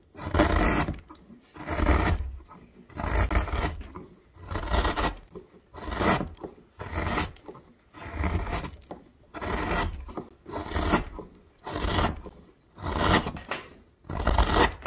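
A wide metal gouge, held in the fingers, scrapes and carves a hollow into a solid myrtle wood blank. About twelve separate rasping strokes follow at a steady pace, each a rough, broadband scrape with a low rumble beneath and fading to near quiet between strokes.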